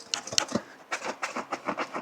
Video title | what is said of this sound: Velocity AP - Mclaren GT 300 Cell Exhaust Development | you can hear that the heat shield is loose, and you can actually hear that there's some pieces of the catalyst that are already come apart that are trapped inside the pipe